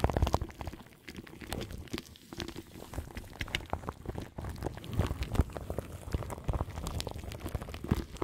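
Long nails scratch and tap on crinkly plastic film wrapped around the grille of a large microphone. The sound is a dense, continuous stream of close crackling and crinkling with many quick taps, heavy in low-end rumble and only faintly bright.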